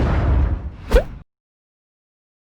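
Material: Nothing is struck.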